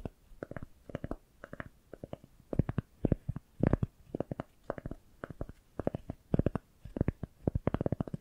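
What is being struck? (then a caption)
Round cork coaster. A single solid round cork coaster is held upright between two microphones and scratched with long nails. Quick clusters of dry, rasping scratches repeat steadily in short bursts with brief pauses between them, with a low, muffled body and little bright edge.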